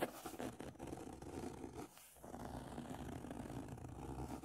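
Fingertips and nails scratch and rub the beige paper cover, marked with a pen doodle, of a closed, solid hardcover book lying flat on a table. The result is a steady, dry, papery scraping with a midrange body, pausing briefly to near quiet around the two-second mark before the rubbing resumes.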